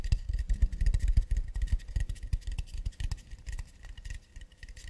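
Tapping and scratching on an acacia wood plate produce a dense run of quick, irregular knocks and scrapes. The knocks are mostly low thuds with a faint bright band above them. The tapping is busiest and loudest early on, then grows softer and sparser toward the end.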